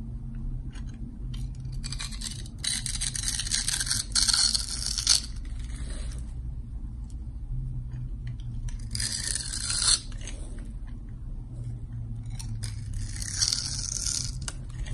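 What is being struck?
Soap bar carved with a blade.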